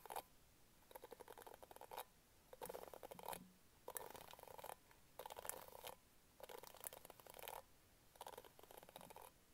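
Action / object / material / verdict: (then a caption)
scrape / plastic bristle hairbrush / plastic / none. Long nails scratch rapidly over the dense pink bristle pad of an orange plastic hairbrush, close to the mic. The result is a quiet series of crackly, bristly bursts with a bright edge, separated by short pauses.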